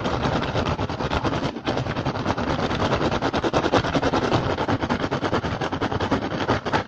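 Fingertips and short nails tap and scratch quickly and steadily across the woven surface of an upturned, hollow, empty rattan basket. The result is a dense, dry, crackling rattle of rapid, irregular taps blurring into a continuous scratch, with a brief dip near the middle before it resumes.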